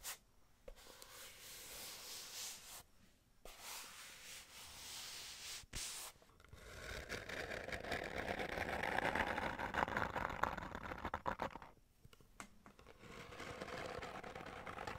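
Long nails scratch and rub the flat faces of a small, hollow kraft cardboard box held upright close to the mic. Bright, papery scratching comes in bursts with brief silent pauses. It then turns into a denser, louder rubbing with a hollow midrange tone before softening again.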